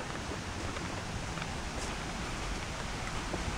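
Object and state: Nothing is struck.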